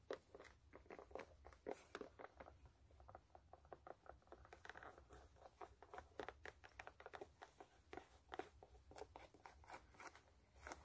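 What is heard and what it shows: Long nails scratch and tap the side and toe cap of an empty, hollow white low-top canvas sneaker with metal eyelets and laces. The result is a steady stream of quick, dry, papery taps and scratches with brief, bright crackles and very little low end.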